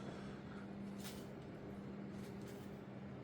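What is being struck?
Nothing is struck.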